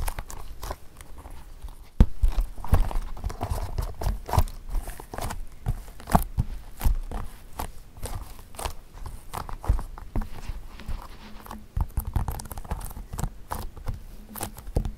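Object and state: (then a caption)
Leather shoes tapped with fingertips. Fingertips and short nails tap the toe caps and uppers of a pair of black smooth leather women's flat shoes, hollow and empty, resting on carpet. Rapid, irregular soft taps and clicks sound dull and low, with a quick, deadened decay and a few sharper accents among the steady patter.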